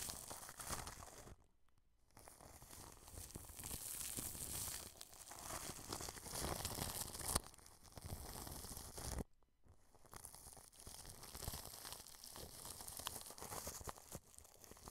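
A wide bristle brush rubs against clear cling film stretched over the grille of a white dome microphone, producing dense crinkling, scratchy rustles with a bright, hissy top and a soft low rumble. The brushing runs continuously, pausing to near silence twice, briefly near the start and again around the middle, then resumes.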